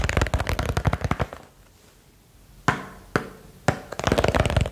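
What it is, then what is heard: Small box tapping. A small box is tapped quickly for ASMR, giving a run of rapid, dull taps, then a short quiet pause. Three single sharp taps spaced apart follow, then another fast flurry of taps.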